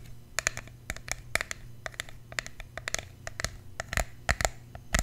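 Fingernails tap and scratch along the sides and cap of a tall, slim, red plastic fragrance mist spray bottle that is hollow and partly full of liquid, held in the hand. An irregular run of quick, dry, clicky taps with bright scratchy edges sounds over a faint low hum, each tap dying away almost at once.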